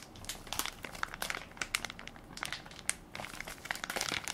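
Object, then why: Plastic film baby wipes soft pack. A hand-sized Equate baby wipes soft pack of crinkly plastic film, full of wipes and held in one palm, is pressed and crinkled by fingertips and nails. Dense, bright crackles and sharp clicks come in quick irregular bursts. The sound is crisp and high with little low end.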